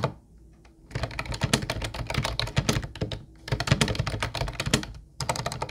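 Fingertips of both hands type on a mint-blue plastic Ubotie retro keyboard with round white keycaps. Three bursts of rapid, clacky key taps are separated by brief pauses. Each tap has a dull low body and a bright, crisp click that cuts off almost instantly.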